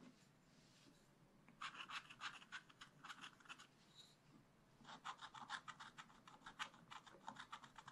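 A wooden stylus makes rapid, short scratches on a thin black-coated scratch-art card lying flat, working over the bamboo and bird areas. Two runs of quick, dry, bright scratching strokes are heard, separated by a brief quiet pause with faint background hiss.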